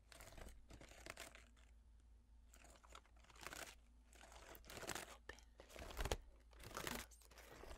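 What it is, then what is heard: Wooden and paper folding fan being folded. A blue wooden and paper folding fan with carved wooden ribs is held close and folded and unfolded by fingertips and nails. Its pleats crinkle and crunch in bursts of bright, papery rustling and tapping between quieter pauses, over a steady low hum.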